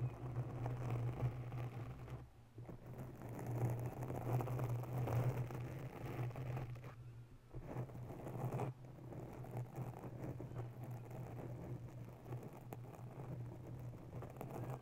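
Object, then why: Foam microphone windscreen. Long bare nails of both hands scratch a grey foam ball cover on a white microphone, producing a dense, continuous scratchy rustle over a steady low hum. The scratching pauses briefly twice, near 2.5 and 7.5 seconds, before resuming.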